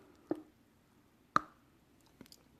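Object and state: Well-tempered chocolate with a crisp snap.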